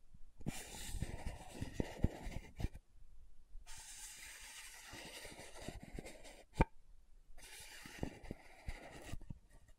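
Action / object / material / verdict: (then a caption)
scrape / plastic powder jar lid / plastic / none. Long nails slowly scratch the top of the dark purple lid on a small round plastic loose powder jar held close to the mic. The result is soft, raspy scratching in three stretches separated by brief quiet gaps, with occasional sharp little clicks and taps.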